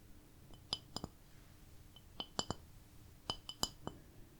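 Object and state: Ceramic plate.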